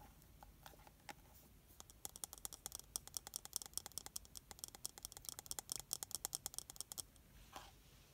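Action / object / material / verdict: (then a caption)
tap / small glass bottle with plastic cap / glass / none. A small glass foundation bottle filled with liquid, with a black plastic cap, is held in both hands and tapped with long nails and fingertips on the glass and the cap. Sparse, light clicks give way to a fast, bright patter of sharp, short taps from about 2 to 7 seconds, followed by a brief softer brush near the end.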